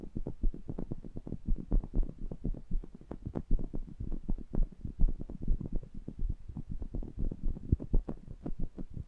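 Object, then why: Metal mesh microphone grille. Fingertips rub and tap the metal mesh grilles of two small pencil condenser microphones. The result is a rapid, uneven stream of short, muffled low thumps with soft scraping between them. The sound is deep and boomy, with almost no bright content.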